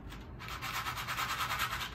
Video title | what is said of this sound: guess the cereal BLINDFOLDED | it sounds like cereal milk